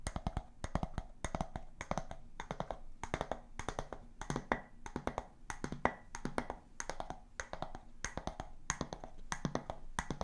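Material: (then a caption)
Glass. A clear, hollow, empty glass storage jar with a round bamboo lid, held close to the microphones, is tapped on its glass walls and lid with long nails and fingertips. Quick clusters of light, bright clicks and taps follow one another steadily, each dying away almost at once over a soft low hum centred near 240 Hz.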